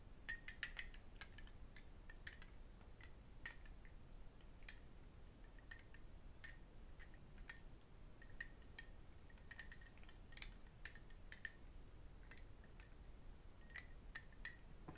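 A small, empty cut crystal whisky tumbler is held in both hands while fingertips and metal rings tap and clink against the glass. Quiet, irregular taps and bright, short-ringing clinks sound throughout, with a few louder clinks near the start and in the middle over a low background hum.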